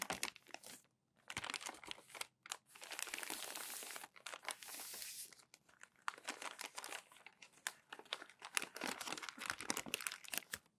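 Hands crumple and fold over thin, matte newsprint sheets resting on a white desk. Dense, bright crinkling and crackling come in bursts, broken by smoother rustling sweeps and brief silent gaps, all at a soft level with almost no low end.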